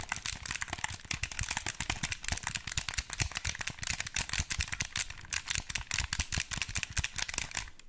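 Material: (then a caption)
Plastic. Fingertips and nails rapidly tap and press the buttons and body of a black wired Xbox 360 controller, a hollow, hand-sized plastic pad held close to the mic. Dense, bright plastic clicks and ticks come in quick bursts with a soft low thump beneath and a faint rattle. Each click dies away almost at once.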